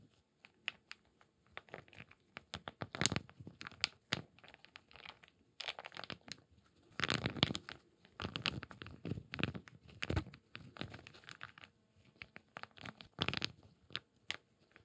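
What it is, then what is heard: Small wooden cubes. A few small solid wooden cubes, about 1–2 cm, are held in both bare hands above an empty clay bowl of water and rubbed and shaken together in the palms with the fingertips. Bursts of dry wooden clatter and scraping come in quick, bright clusters separated by short quiet pauses.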